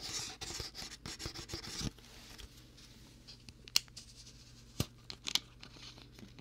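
Fingertips twist and tap the small plastic screw cap on a partly filled clear plastic water bottle. For the first two seconds there is a dense, bright, scratchy grinding of the cap turning. Then a quieter stretch follows, with a few sharp, dry clicks and taps.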